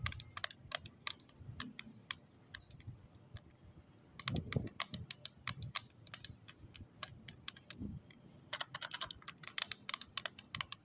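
Long acrylic nails tap rapidly on the lid of a small closed pink plastic case holding lip tints, resting on cloth. Quick bright clicks come in bursts with short pauses between them, each dying away almost instantly, over a faint soft low rumble.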